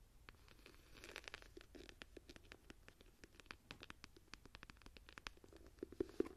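Long nails scratch and tap across the raised tree relief of an embossed leather journal cover held in both hands. A quiet, dry stream of quick, sharp clicks and soft scratching continues throughout, with a few louder, lower taps near the end.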